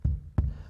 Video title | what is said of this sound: AllMine Ranch Plans Update: Walking My New Arizona Homestead Land in Cochise County - Price Reveal! | up there it's a little more resonant where it's empty so my water line is right there somewhere